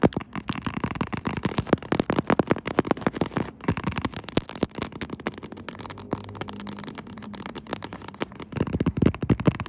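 Long acrylic nails on both hands quickly tap and scratch across the textured back of a smartphone in a pink faux-leather croc-textured case, held in a tripod mount. The result is a dense run of short, dry clicks and scratchy rustles, mostly low and mid-toned with little brightness. A faint steady low hum sits underneath in the middle.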